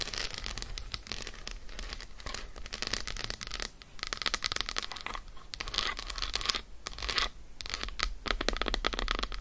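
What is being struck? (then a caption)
Dark chocolate bar. Long nails rapidly scratch and tap an unwrapped solid Lindt dark chocolate bar lying on a fur rug, first on its embossed side and then on its flat side. The result is a dense stream of crisp, bright clicks and scratchy, crinkly rasps with a light low thump underneath. It runs steadily with a few brief dips in loudness.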